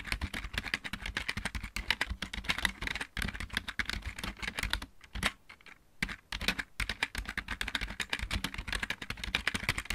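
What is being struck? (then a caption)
Plastic mechanical computer keyboard. Both hands type rapidly with fingertips and nails on a full-size backlit plastic mechanical computer keyboard with a hollow housing, in a dark room. The result is a dense stream of sharp, bright clicky taps with a hollow plastic clack, centered around 2 kHz with some low thump underneath. Around the middle of the clip the typing briefly thins to a few scattered taps before the fast typing resumes.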